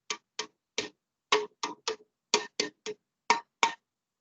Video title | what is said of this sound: Evening EMT Course 614959 - 7-27-20 Chest Trauma | where there's air like a drum